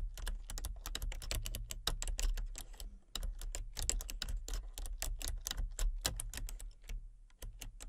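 Fingertips and nails type rapidly on a full-size plastic computer keyboard with a colour-changing backlight, producing quick, bright clicks and taps that stop dead. The tapping runs in fast bursts with brief pauses over a steady low hum.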